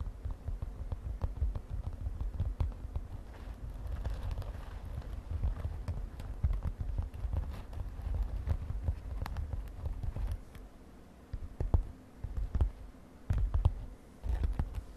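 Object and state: Glitter fabric cosmetic pouch.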